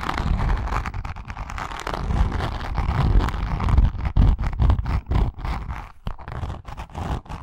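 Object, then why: Grained leather zip wallet. Long nails scratch and tap across the surface of a pink, grained leather zip wallet with a metal zipper pull. The result is a dense, irregular run of soft, dull taps and rough scratching, weighted toward low thuds with a faint papery hiss and short, quickly damped hits.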